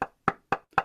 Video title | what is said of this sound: Sharon Carne – The Secrets to Managing Energetic Boundaries | this box has a resonance that sounds like this ... that's its natural sound it's natural resonance ... is the sound of the wood when I knock my Knuckles on the wood